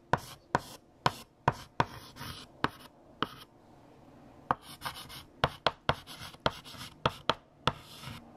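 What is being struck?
Chalk on a chalkboard.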